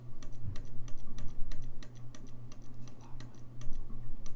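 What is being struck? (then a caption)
Brass saxophone keys. Fingertips press and tap the keys of a hollow, gold-lacquered brass saxophone, producing rapid, bright, short clicks over a steady low hum. The taps come quickly but unevenly throughout.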